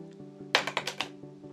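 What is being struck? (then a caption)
Plastic credit card. The old plastic version of an American Express Business Gold credit card is dropped for comparison with the new metal card, giving five quick, bright clicks as it bounces and settles. The plastic card sounds a little different and quieter than the metal one. A steady low hum runs underneath throughout.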